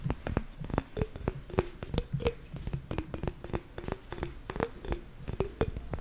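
A whole, solid green apple held in one hand has its skin tapped and scratched with long fingernails close to a microphone. About two dozen quick, sharp clicks land in an irregular rhythm, each ringing very briefly with a bright crisp edge, over a soft low hum and faint scratching in between.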